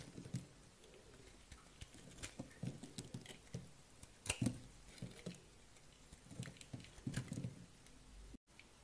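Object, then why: Soap bar scraped with a knife blade. A utility knife blade scrapes and shaves the surface of a solid green bar of dry soap, about palm size and held in one hand, lifting thin curls and powder. Quiet, dry scratchy scraping comes in short, uneven bursts with soft crunchy pops, and a brief dropout of sound near the end.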